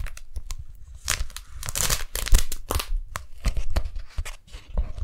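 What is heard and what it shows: A pink strawberry-print beeswax-coated cotton food wrap is held close to the microphones while fingers peel its sticky halves apart and pull it open. Short bursts of tacky tearing and bright crinkling come in quick irregular clusters over soft low handling thumps, with the loudest peeling near the middle.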